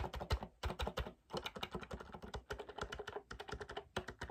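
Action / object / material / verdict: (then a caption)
tap / plastic MIDI keyboard keys / plastic / none. Fingertips rapidly tap and press the hollow keys of a small black plastic MIDI controller keyboard. The result is a fast, uneven run of short, dry clicks with low thumpy knocks underneath, broken by a few brief pauses.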